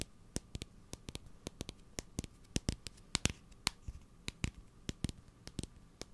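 A tall blue cylindrical cardboard Sel Fin salt tube, likely filled with salt, is tapped and scratched with fingernails. About 25 sharp, dry clicks come in an irregular rhythm, each stopping instantly with no ring. They span from a low thud to a bright tick over a quiet, steady background.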